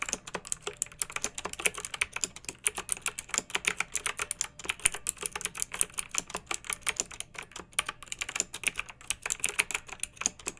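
Long-nailed fingertips type continuously on a pink backlit plastic mechanical keyboard with round keycaps. The result is a steady, rapid stream of sharp, bright plastic clicks and clacks with almost no low end and very short decay.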